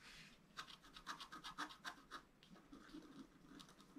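A wooden stylus scrapes fine strokes across a flat sheet of scratch-art paper, held flat on a table, removing its black coating to reveal the colored foil layer beneath. The result is a quick, uneven run of short, bright, dry scratches, with quieter rubbing between them.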